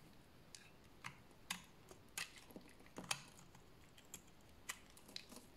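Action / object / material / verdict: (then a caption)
scrape / bar of soap shaved with a blade / soap / none. A solid bar of dry orange-brown soap is held in the hands and shaved with a utility blade, sending crunchy flakes falling off. About ten short, crisp scraping crunches sound quietly and brightly, spaced irregularly, with no ring after each stroke.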